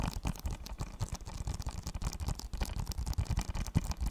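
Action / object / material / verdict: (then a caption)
tap / thin hollow plastic game case / plastic / none. A small, thin, hollow blue plastic PS4 game case, closed, is tapped and scratched with fingernails. Quick, dry taps and rough scratching run steadily throughout, quiet and low-heavy with a hollow thump, each sound dying away at once.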